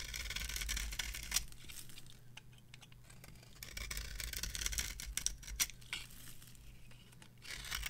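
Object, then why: Bar of soap scraped by a metal knife. A metal knife scrapes and carves a cream-colored dry bar of soap held on the palm. Bright, gritty scraping strokes come in uneven bursts with a few sharp clicks, over a steady low hum.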